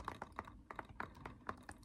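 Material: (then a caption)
Plastic. Light fingertip-style taps on a plastic Spider-Man DVD case make a quick, uneven run of short, dry clicks centered around 1 kHz. Each tap dies away almost instantly, with no ringing.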